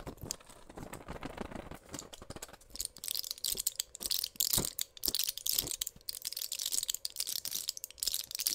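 Fingers with long pink nails press and crinkle the plastic bubbles of a small pill blister pack with an aluminium foil back holding white pills. The result is a dense, bright stream of sharp crackles, clicks and crinkles that grows busier after the first few seconds, over a faint steady hum.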